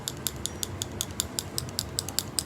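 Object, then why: Liquid lip color tube with small mixing ball. A tube of plum liquid lip color is shaken, and the small mixing ball inside clicks sharply in a quick, even rhythm, about a dozen crisp ticks over a low background hum. The rattle is normal: the ball is there to mix the formula. The tube should be shaken, not hit on the hand, since a hard knock could break it.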